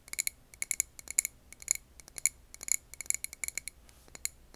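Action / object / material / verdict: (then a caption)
tap / glass candle jar / glass / none. Long painted nails tap quickly and irregularly on a clear glass jar filled with green wax candle, recorded over an earbud mic. Each tap is a sharp, bright click with a brief high glassy ping that dies away almost at once, over a faint background hiss.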